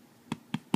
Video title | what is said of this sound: spinach and red quinoa bread | you hear that hollow sound. That's a good indication.